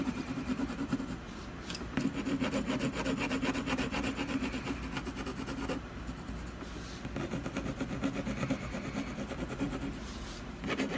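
A colored pencil shades along the edge of a solid canvas panel in quick, steady back-and-forth strokes. It makes a continuous dry, scratchy rubbing with a grainy texture, broken by brief pauses as the strokes restart.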